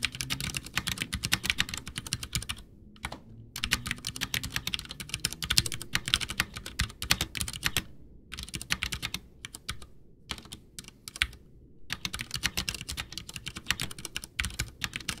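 Both hands type with their fingertips on a full-size white plastic Ducky One 2 mechanical keyboard with Cherry MX Brown switches, backlit, with a hollow case resting on a desk. Fast, bright, clacky keystrokes run in dense bursts over a low hollow thump. The typing stops briefly around 3, 8 and 10 to 12 seconds before resuming.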